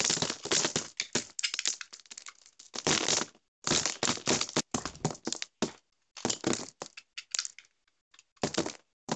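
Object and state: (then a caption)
Dry crumbly soap bar being scraped. A dry, crumbly, hand-sized solid orange bar soap with a honeycomb-pattern face is shaved and scraped with a metal utility knife blade, crumbs falling off. Irregular bursts of crisp, bright crackling and scraping come in quick strokes separated by brief silences, with almost no low end.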